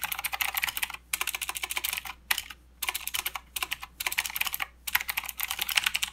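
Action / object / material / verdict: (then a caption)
tap / plastic mechanical keyboard / plastic / none. Both hands type with their fingertips on a full-size mechanical keyboard with plastic keycaps and blue clicky switches. Fast runs of sharp, bright clicks come in bursts separated by short pauses. Each keystroke is crisp and dies out almost instantly.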